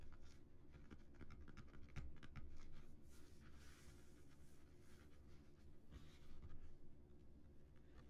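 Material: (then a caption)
Cardboard. Fingertips scratch the raised relief of a flat, embossed cardboard Earth disc, making soft, dry, irregular scratching strokes with brief bright rasps. Near the end the disc is lifted and held in both hands.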